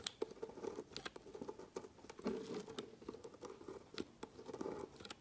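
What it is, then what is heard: Bar of soap being shaved with a knife. A dark metal knife blade shaves thin slices off the end of a solid orange-and-white bar of soap, held by a hand on a woven mat. It makes a quiet run of dry, crisp scraping and cutting strokes with short bright clicks and no ring. The soap comes away in curled flakes.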